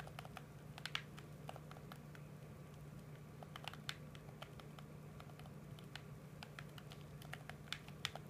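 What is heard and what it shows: A PS4 controller of hollow hard plastic, held in both hands, is tapped and clicked rapidly with the thumbs on its buttons and touchpad. Quick, sharp, bright clicks patter irregularly at a low level over a steady low hum, each one dying away almost instantly.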